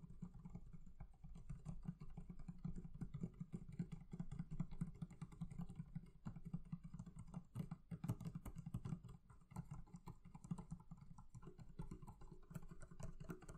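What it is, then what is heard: Leather covering on a barrel chest. The leather covering on a barrel chest is tapped with fingers in a fast, steady flurry of soft, dull thuds. The sound stays low and muffled, with almost no bright ring or sustain after each tap.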